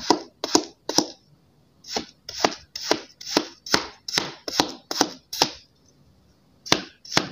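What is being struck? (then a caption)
Kinetic sand shapes cut with a steel knife. A steel kitchen knife blade repeatedly slices through three small solid heart-shaped molds of pink kinetic sand on a white surface. Fourteen crisp, gritty chopping and scraping cuts land in quick succession, each a short bright crunch that dies away almost at once. A brief pause comes before the last two cuts.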